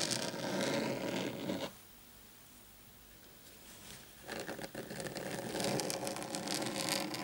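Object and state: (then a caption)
Desk mat scratched and tapped. Short painted fingernails of both hands scratch and tap the surface of a large, thin, flat black desk mat or mousepad lying on a table. Dense, rough scratching runs for under two seconds, drops to near silence for about two and a half seconds, then resumes as busy, bright scratching mixed with light taps until the end.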